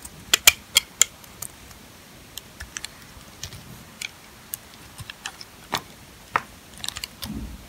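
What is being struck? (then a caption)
Sulfur soap bar cut with a metal blade. A metal box-cutter blade carves and scrapes curls off the surface of a solid, dry, old green sulfur soap bar held in the hand, leaving green shavings collected around it. About 19 sharp, bright, crisp clicks and brief scrapes ring out in irregular bursts, each dying away almost instantly over a quiet background.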